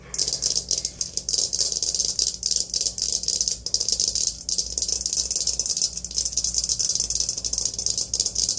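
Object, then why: Aluminium colander. Long nails rapidly tap and scratch an empty, hollow, perforated aluminium colander with handles held against the chest. The result is a continuous, dense, bright rattling scrape with quick clicky bursts, sitting mostly in the high range over a faint steady low hum.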